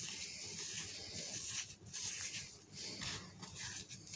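Bare hands scoop, squeeze and rub a large loose heap of dry pink-dyed cement or chalk powder, with white powder at its edge, on a green surface, raising clouds of dust. The result is a quiet, bright, hissing crunch and rustle, almost entirely high-pitched with little low end, that swells and briefly dips as the hands work the powder.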